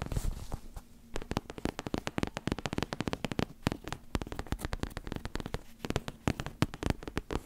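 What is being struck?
Fabric-covered neck pillow with soft filling.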